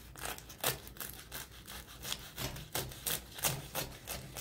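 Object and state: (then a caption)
Crisp baked phyllo pastry being cut. A knife saws back and forth through the golden, crisp phyllo crust near the center of a spiral spinach börek in a metal tray. The result is a series of dry, bright crackling and scratching strokes. They come in an uneven rhythm, with sharp crunchy peaks between softer rasping.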